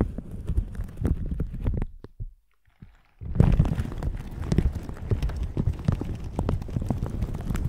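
A plastic shower cap stretched over a microphone is squeezed and rubbed with red silicone bristle gloves, making dense, muffled, low thumping and scratching. The rubbing stops for about a second into near silence, then resumes just as thick and steady until the end.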